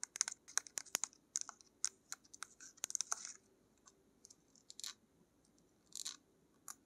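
Long nails tap and scratch the surface of a small plastic paint tube with a black cap and a pink label, apparently filled with paint, held in the hands. Quiet, bright, dry clicks and short scratchy rasps come in an irregular series, with no low-end body and no ring after each touch.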